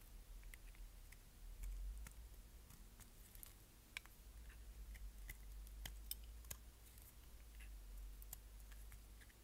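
A solid green striped bar of dry soap, held in the hand, is scraped with a utility knife blade. Faint, brittle scraping is broken by sharp, bright clicks and crackles as flakes break away, each dying out almost at once over a low steady hum.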